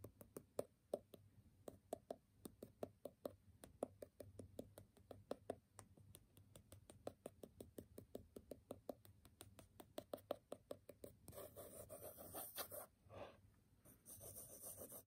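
A graphite pencil tip taps quickly on the top sheet of a small, square, solid stack of brown kraft paper sticky notes held in hand, making a long run of short, dry, woody clicks. Near the end it switches to fast scribbling, a continuous bright, scratchy rasp that pauses briefly before resuming.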